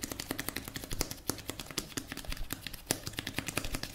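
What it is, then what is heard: Plastic cosmetic tube. A blue plastic cosmetic tube, held horizontally, is tapped and scratched with fingertips and nails. A quick, uneven run of sharp, bright plastic ticks and brief scratches sits over a soft, low hollow thump. Each tap dies away almost instantly.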